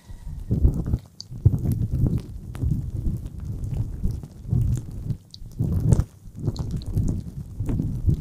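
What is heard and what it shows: Fingertips rub and tap directly on the small, soft silicone ear of a black dual-ear binaural ASMR microphone. The result is a close, muffled stream of deep rumbling thumps and scrapes, almost all low in pitch around 105 Hz, swelling and fading in uneven bursts with no ring after each touch.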